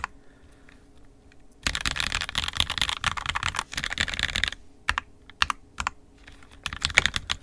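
Both hands' fingertips type on an NK65 Entry Edition 65% mechanical keyboard with a purple plastic case, red and black plastic keycaps, and lubed and filmed 67g Tangies switches. After a near-silent start, a dense run of quick, bright, short clacks fills the middle of the clip. It then thins to scattered single keystrokes, each sharp and clean with almost no ring.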